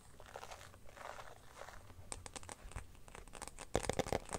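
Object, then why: Clear plastic phone case. An empty, transparent teal glitter plastic phone case is scratched and tapped by fingers and nails, first while lying on a blanket and then while held up. Soft, crinkly scratching in the first two seconds gives way to quick, sharp plastic clicks and taps. The taps grow louder and denser near the end.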